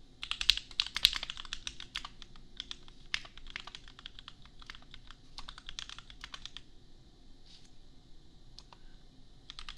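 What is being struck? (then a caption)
Plastic mechanical keyboard. A $250 custom 60% mechanical keyboard with Gateron Milky Yellow switches and red and white plastic keycaps, resting on an anime desk mat, is typed with the bare fingertips of both hands. Quick, bright, irregular plastic clacks come in dense bursts at first, then thin out into lighter, sparser taps. Each keystroke is short and crisp, with almost no ring and little low end.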